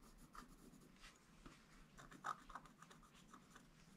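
A wooden stylus scratches fine lines into a flat scratch art paper board, a black-coated page over a gold base. Quiet, dry scratching runs throughout, with short, bright strokes that peak near 1.4 kHz. The sharpest stroke comes just past the midpoint.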